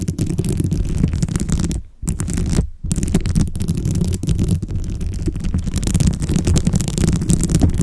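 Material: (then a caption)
Plastic beads. Long blue acrylic nails tap and scratch a dome microphone cover densely covered with small glossy plastic beads. The result is a dense, continuous, low, rumbling clatter with a faint bright crackle above it. Two brief near-silent gaps occur around the two-second mark.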